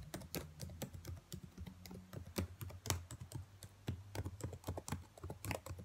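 Long white nails tap and type on the black plastic keys of a laptop keyboard, with the hand held close. A quick, uneven run of sharp, bright plastic clicks and taps plays over a steady low hum.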